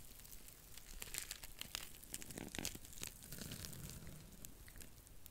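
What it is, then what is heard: Dry cellulose sponge, scratched and squeezed. A small, flat, porous blue dry cellulose sponge, soft and flexible, is held in both hands in front of the mic while long nails scratch and squeeze it. The result is a dense run of crinkly, tearing crackles with bright, sharp clicks over a soft low rumble.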